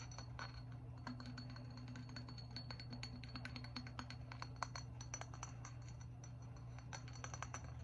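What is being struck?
Glazed stoneware jug.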